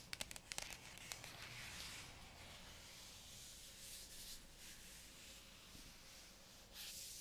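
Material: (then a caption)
Cardboard, plastic film. Fingertips and long nails rub and scratch across the glossy printed lid of a sealed white cardboard iPad Pro 2020 box in plastic wrap, in a sanding-like motion. A quick run of sharp ticks opens the clip, then a steady, bright, papery scratching hiss, with a stronger burst of scraping near the end.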